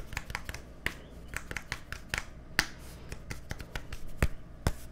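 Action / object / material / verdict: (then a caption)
tap / plastic deodorant stick / plastic / none. A small, hollow white plastic deodorant stick with a green cap is held close to the microphone and tapped with fingertips and nails. The result is a quick, irregular series of sharp, dry clicks with a hollow plastic tone around 1.8 kHz and bright edges. Each tap dies away almost instantly over a low background rumble.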